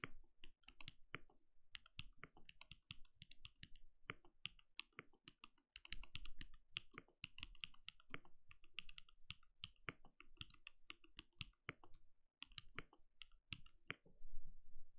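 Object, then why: Plastic mechanical keyboard. Fingertips of both hands type rapidly on a compact backlit mechanical keyboard with plastic keycaps and a translucent glowing case. The result is a steady stream of quick, dry key taps, each a short click with a bright top and a low thud underneath, dying away almost instantly.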